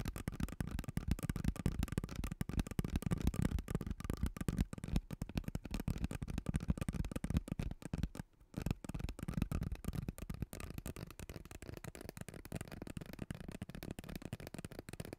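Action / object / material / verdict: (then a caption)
scrape / corrugated plastic tube / plastic / none. A hollow, purple corrugated plastic tube about a forearm long, held horizontally close in front of a microphone, is scratched and tapped along its ridges with long teal-painted nails. The result is a dense, continuous stream of quick, dry ribbed clicks and rasps with a heavy low-end thump and almost no ring. There is a brief near-silent gap around the eight-second mark before the scratching resumes.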